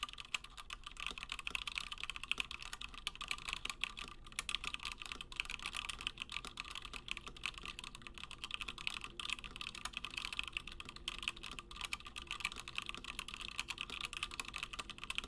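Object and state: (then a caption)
Mechanical keyboard with plastic keycaps being typed on. Fingertips of both hands type continuously on a Gingham 60% plateless mechanical keyboard with Gateron Black switches and cream and blue PBT plastic keycaps. The result is a steady, dense stream of short, dry clacks with a bright, high emphasis around 2.6 kHz and almost no low end.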